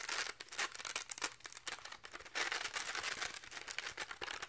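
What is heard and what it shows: Fingertips and nails rapidly scratch and rub the fuzzy purple and orange felt/velcro pad of a round pink plastic velcro catch paddle held in both hands. The result is dense, bright, crackly rasping in fast uneven bursts with almost no low end.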